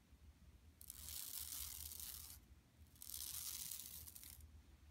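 Long nails on both hands scratch a flat, empty yellow woven plastic mesh tote bag lying on carpet. The result is two extended bursts of bright, crackly scratching, each lasting about a second and a half, separated by a short pause. A faint low hum sits underneath throughout.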